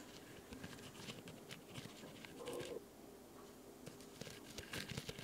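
A solid, white rectangular foam nail buffer block, held in one hand near the recorder, is scratched and tapped with long light-colored nails. Soft, dry scratching and brief, muffled taps are heard, with a longer rasping scrape midway. A dishwasher runs steadily in the background.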